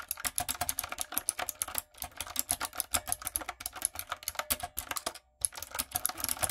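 Fingertips and long nails type quickly on a retro, typewriter-style light-up mechanical keyboard with round plastic keycaps. Dozens of crisp, bright clicks and clacks come in rapid bursts, with brief pauses near 2 and 5 seconds. Each keystroke dies away almost instantly, with little low-end thump.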